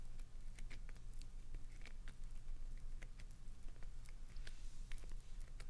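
Long nails scratch into a hand-sized, solid green glycerin soap bar held upright, making a quiet run of short, bright scratchy clicks over a steady low hum. Soap shavings fall onto the carpet below.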